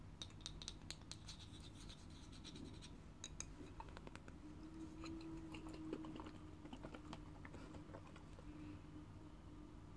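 A small full glass bottle of grape juice with a metal lid and a label is held in the hands and scratched and tapped with long fingernails. Quick, sharp clicks and scratchy rasps come in bursts over a low rumble, with a faint glassy ring near 300 Hz around the middle.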